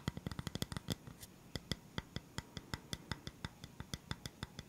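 Fingertips tap and scratch on a flat, round bamboo wooden stand with black feet, held upright. A quick cluster of dry taps in the first second gives way to a steadier run of separate taps. Each one is a short low thump with a bright click that dies almost at once, with a faint scratchy rustle in between.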